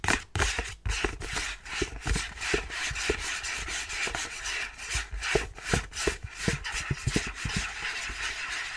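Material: Cardboard.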